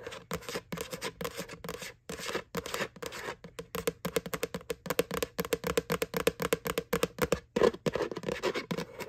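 Fingertips and nails tap and scratch on the flat bottom of a white, hollow plastic McDonald's Halloween Boo bucket. About fifty quick, dry taps and scrapes come in irregular bursts with a brief pause near two seconds. Each hit carries a short hollow knock around 450 Hz that dies away almost instantly.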